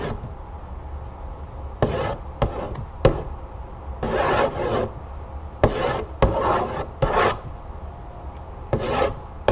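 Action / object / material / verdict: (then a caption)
scrape / cardboard cereal box / cardboard / none. Long acrylic nails scratch and tap the surface of a large, hollow printed cardboard cereal box lying flat on a table. Dry, raspy scratching strokes alternate with sharp, short taps that ring with a hollow midrange tone around 540 Hz and die away almost at once, over a soft low background rumble.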